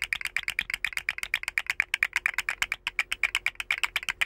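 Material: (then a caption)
Plastic. A rainbow segmented hollow plastic articulated slug fidget toy is held by its head, dangled and wiggled so its jointed segments rattle and click. A rapid, uneven stream of light, bright clicks with almost no low end, each dying away instantly. About 29 clicks are heard in roughly four seconds.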